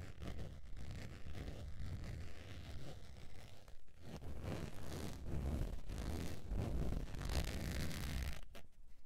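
Long nails scratch the face and side of a beige textured faux leather zip wallet held at an angle over fur. The result is a steady, dense, rasping scratch, heavy in the low end with a soft hiss above. There is a brief dip near the four-second mark, and the sound falls away just before the end.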